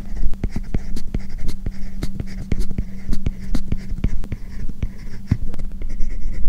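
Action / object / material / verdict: scrape / plastic stylus tip on a matte plastic film over a tablet screen / plastic / none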